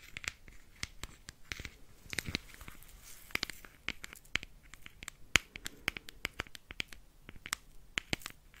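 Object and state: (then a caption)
Plastic rhinestone case. A small round clear plastic compartment case filled with rhinestones is held in the hand and scratched, turned and shaken with the fingernails. The result is a quiet run of sharp, bright clicks and scratchy rattles, with faint crinkling between them.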